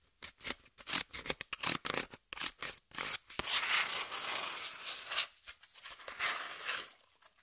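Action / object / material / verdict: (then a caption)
scrape / corrugated cardboard sheet / cardboard / none. Long nails scratch a piece of brown corrugated cardboard across its surface and edge, with the sheet held flat and then upright. Quick, dry, bright scratching strokes come in short bursts, then give way to a longer continuous rasp and softer, fading strokes. There is almost no low end.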